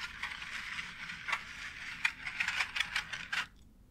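Long nails scratch and tap across a white embossed plastic faux brick wall tile, making a steady, bright, papery scraping sound. Sharp, short clicking taps punctuate the scratching, coming more often in the second half. The sound then stops abruptly just before the end, leaving near silence.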